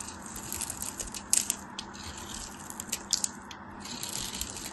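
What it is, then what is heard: Bar of soap being scraped. A thin metal craft knife shaves and scrapes flakes off a palm-sized solid white bar of soap with a textured crosshatch surface, held in one hand. Soft, dry scraping and crumbling hiss fills the high range, broken by several sharper, brighter crisp cracks as flakes break away.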